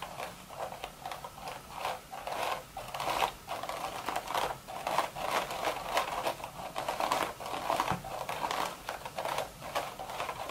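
Long, red, super-sharp nail tips tap and scratch the crown of a cream woven straw sun hat in quick clicking bursts. The sound is a dry, crisp run of ticking and rustling centered in the midrange, with bright edges on each tap. The taps die away almost instantly, with little bass.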